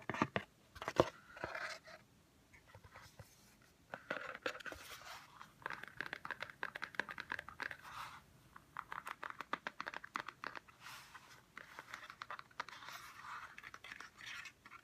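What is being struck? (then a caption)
Cardboard gift box. A large flat cardboard gift box, white inside with an orange rim, is held close while fingertips and nails scratch and tap its flat surface. Dry, crinkly scratching comes in bursts, broken by many quick, sharp taps and short pauses.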